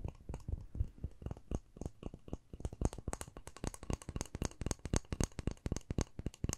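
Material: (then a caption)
Plastic. Long nails scratch and tap a small, hollow, rectangular white plastic case with a pink front panel, held in one hand. A rapid, irregular stream of dry clicks and taps mixes with scratchy rustling. Each tap has a hollow, low-weighted knock and a bright edge, and dies away at once.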